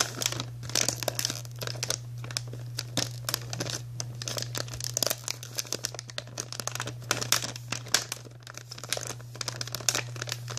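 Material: Plastic.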